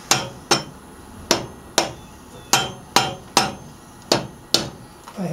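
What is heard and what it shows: A dark-headed hammer or mallet held in one hand knocks repeatedly on a solid cast iron Model A Ford cylinder head sitting on the engine block during a head gasket replacement. Nine sharp, bright metallic knocks land at uneven intervals, each with a brief ring around 790 Hz that dies away within about a tenth of a second.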